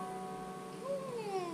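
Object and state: Nothing is struck.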